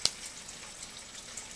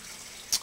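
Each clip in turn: First: copper penny, rings when flicked. Second: zinc clad penny, dull dink with no ring.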